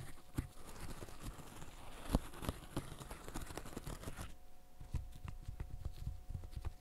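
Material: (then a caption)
Silicone. Gloved fingertips press and pop the bubbles of a green silicone pop-it fidget toy in a steady run of soft, dull, low taps. Each pop is short and muted with almost no ring, over a faint steady hum in the background.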